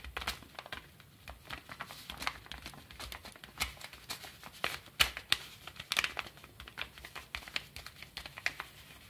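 Fingertips rub and scratch the surface of a small, empty-looking brown kraft paper bubble mailer (A-1, eco bubbles) lying flat. The result is a quiet, dry crinkling and scratching, made of many quick, bright bursts with almost no low end.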